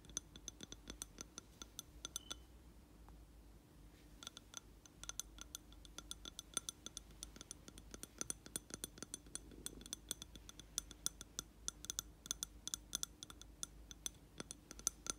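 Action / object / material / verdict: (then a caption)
tap / glass candle jar filled with wax / glass / none. Fingertips and nails tap the side of a lit scented candle in a round reddish glass jar filled with wax, its two wicks burning. Quick, quiet, bright clinks on the glass wall come in uneven bursts throughout, each dying away almost at once.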